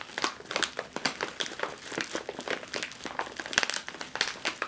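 A sealed metallized foil snack chip bag is gripped, squeezed and crinkled in one hand. The result is a continuous stream of sharp, bright crackles and crinkles with almost no low end, each burst cutting off quickly.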